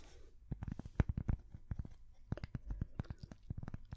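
A thin, flat, solid square cork coaster is held up to microphones and tapped and scratched with long painted fingernails. Quick, dry taps land in irregular bursts over a low, dull rumble, each one dying away almost at once. The sound stays soft and mostly low, with faint bright edges on the sharper taps.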